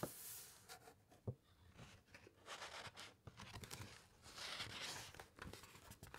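Long white nails and fingertips rub and trace across the thick, uncoated printed pages of a large hardcover encyclopaedia lying open, then turn a page. Quiet, dry papery scratching and brushing come in uneven strokes with a few sharper taps. A longer, bright rustling sweep rises near the end as the page turns.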